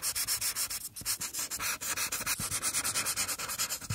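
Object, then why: Thin paper page under a felt marker tip. A felt marker tip is rubbed steadily over a single thin paper coloring page lying on a table, coloring in strokes across the drawn figure's forehead. About 28 quick, rhythmic scratchy swipes are heard as bright, hissy rubbing with almost no low end.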